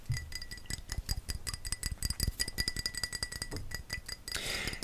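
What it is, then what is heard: Glass perfume bottle. A dark blue Davidoff Cool Water Intense glass perfume bottle, in the classic Davidoff bottle design, is tapped repeatedly. It gives quick, irregular clinking taps with short bright glassy rings. A softer, broader hiss closes the clip.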